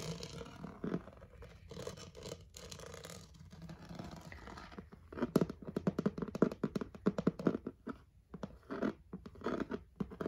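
Fingertips and short painted nails scratch and tap across the smooth, flat underside of a hollow, rigid, pink rectangular plastic storage basket with a woven-look rim. For the first five seconds, soft continuous scratching rasps over the base. It then gives way to rapid, sharp, hollow-sounding taps and flurries of clicking with short, dry decays.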